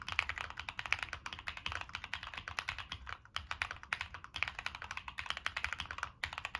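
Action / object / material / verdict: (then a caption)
tap / mechanical keyboard with plastic keycaps and metal case / plastic / none. Fingertips type steadily on a Monsgeek M1 mechanical keyboard with NK Cream switches, a dark metal case and purple and black plastic keycaps. About fifty short, crisp, bright clacks come in a quick, even rhythm with almost no low-end thump, and each keystroke stops dead with no ring.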